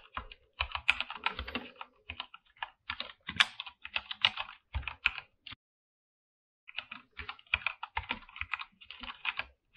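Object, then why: Mechanical keyboard with PBT plastic keycaps. Fingertips of both hands type on a full-size mechanical keyboard with a white backlight and PBT plastic keycaps, in a dark room. Rapid, bright, short clacks come in quick bursts with little low end, pause for about a second, then resume.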